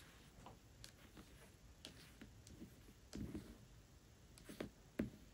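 Long nails tap and scratch the paper dust jacket of the hardcover book *Tress of the Emerald Sea* as it lies flat. The sound is quiet, with soft, short clicky taps over a faint scratchy rustle. A few firmer taps with a duller low thump stand out toward the end.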